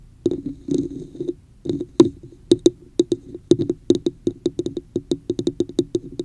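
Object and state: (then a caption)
Plastic cup tapped with nails. Long nails scratch and then tap around the top rim of a hollow red plastic cup with a woven texture, turned upside down over the mic. A few rough scratching bursts give way to a fast, uneven run of short, hollow, knock-like taps with a resonant tone near 340 Hz and bright clicky tops. Each tap dies away almost instantly.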